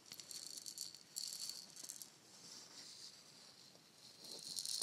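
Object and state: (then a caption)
Wooden shaker egg rattling. A palm-sized hollow painted wooden shaker egg is held in both hands, tapped with the nails and shaken so its fill rattles. Quick, uneven bursts of bright, dry rattling and hiss come and go, with almost no low end and each burst stopping short without ringing.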